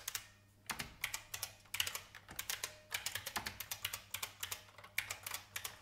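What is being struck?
Plastic mechanical keyboard.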